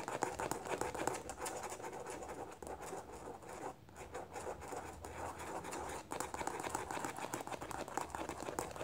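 Long nails tap and scratch rapidly on the small, hollow white plastic cap of a squeeze tube. The result is a dense, continuous run of quick, dry clicks and scratchy rustles with very short decay, centered in the mid range with little low end. It briefly softens around the four-second mark before picking back up.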